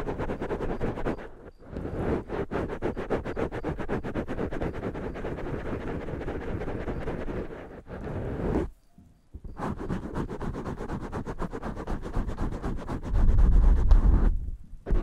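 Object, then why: Foam microphone windscreen. Fingertips tap and scratch from above on black foam microphone windscreens, making a dense, rapid, muffled rustling with a heavy low-end thump. The scratching runs steadily, with brief pauses near the start and the middle. It grows louder and boomier toward the end before trailing off.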